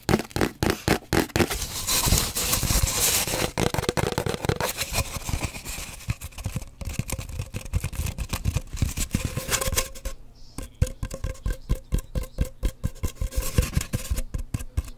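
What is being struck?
Cardboard paper towel tube.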